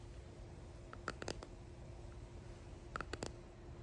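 Long painted nails and fingertips tap and click on a clear resin hexagon box holding pressed flowers and gold flakes. Two short clusters of sharp, bright clicks, one near the start and one near the end, ring around 1.3 kHz and stop almost instantly. A quiet, steady low hum sits underneath throughout.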